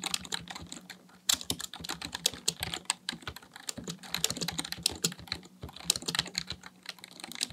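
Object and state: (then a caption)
Plastic computer keyboard being typed on. Both hands type with their fingertips on a full-size black plastic Dell keyboard resting on a desk, producing a rapid, continuous stream of short, dry, bright key-press taps with a few louder clacks. A faint, steady low hum sits beneath the clicking.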